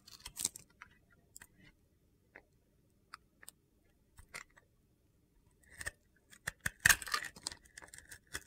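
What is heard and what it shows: A metal utility knife blade shaves and slices the surface of a hand-held, solid rectangular soap bar with a red glitter coating over white soap. It makes a series of short, crisp, crunchy scraping cuts with bright, gritty high tones, separated by quiet gaps. The cuts grow denser and louder toward the end.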